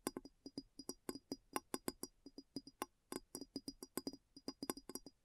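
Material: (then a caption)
Glass. A large clear glass bowl, placed upside down, hollow and empty, is tapped around its base with long nails. About 31 quick, dry clicking taps come in an uneven rhythm, each dying away almost at once with a faint bright glassy ring.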